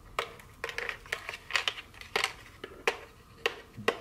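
Very long fingernails scratch and rub the surface of a small, full, rectangular cardboard dark chocolate box with its plastic wrap removed. The result is a quick series of dry, bright scratching and tapping bursts with quiet gaps between them. Each burst cuts off almost immediately, with little low end.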